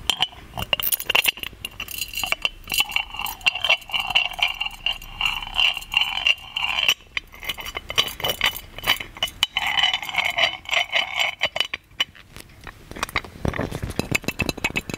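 An ornate, hollow, gold metal genie lamp with a chain is tapped and scratched with fingernails on its body and lid. The result is a rapid run of short, bright metallic clinks and scrapes that die away almost at once. The sound has a ringing tone near 2.8 kHz and almost no low end.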